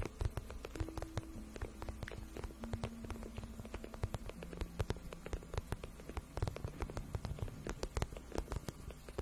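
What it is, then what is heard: Vinyl boot shaft tapped and scratched with nails. Long nails scratch and tap along the shaft of a glossy pink patent vinyl boot, which is soft and hollow. The result is a quiet, dense stream of quick, dry clicks and scrapes that fade almost instantly, over a low, muffled body and faint steady hum tones.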